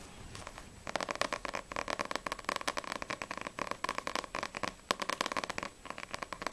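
Long acrylic nails fast-tap the glossy card front cover of a single Black Butler vol. 1 paperback manga with solid paper pages. After a brief quiet start, a rapid, uneven stream of crisp, dry clicks follows, each tap sharp and bright with a papery mid tone and almost no low end. The taps stop dead without ringing.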